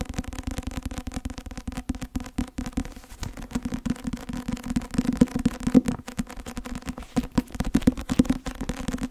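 Long nails tap and scratch the glossy cover of a thick, closed, solid white and blue Academia Iuris law textbook in softcover. Quick, dry taps run together with rough scratching throughout, each tap dying away almost at once. The sound has a dull, low-mid tone with little brightness.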